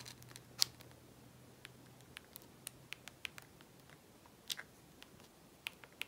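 Long natural nails tap and click on the rubber keypad buttons and plastic casing of a small, hollow, dark blue plastic Nokia 5110 mobile phone with a screen, held in the hands. Sparse, sharp, bright clicks with almost no ring stand out over a quiet hiss, with a faint low hum early on.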